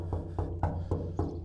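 Knuckles knock six times on the steel hull of the 40-foot sailboat NANOK, showing it is a steel boat, chosen over fiberglass for safety. Each knock is a dull, low thud centered around 94 Hz with a short ring that fades within about a fifth of a second. The hull sounds solid.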